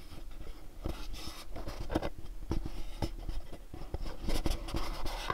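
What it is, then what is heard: Cardboard box. A pink cube-shaped cardboard gift box is scratched and tapped on its faces with fingernails. Dry, papery scratching runs throughout, broken by short, sharp taps with a low, hollow thud underneath. The taps die away almost immediately.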